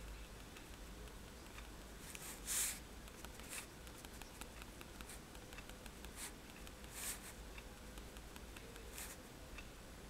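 A fineliner pen tip is tapped onto a sheet of flat white drawing paper resting on a table to make dots. Soft, bright, dry ticks land at irregular intervals over a quiet, steady low hum, with one sharper tap standing out early on.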